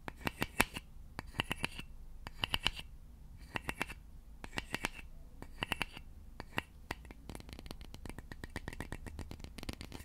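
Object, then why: Wooden serving fork. Fingertips and short nails scratch and tap along the slotted tines and handle of a large, solid, polished wooden serving fork held in both hands above the mic. Short, dry, bright clicks come in quick bursts separated by brief pauses, then turn into a denser, steady run of tapping and scratching toward the end. There is almost no ring after each hit, over a faint low rumble.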